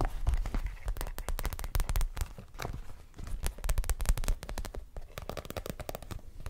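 An empty clear PVC zip pouch, held beside the mic, is tapped and scratched with long nails. The result is a rapid, dense run of crisp crinkly clicks and scratches over a soft low thumping body, with each tap dying away almost instantly.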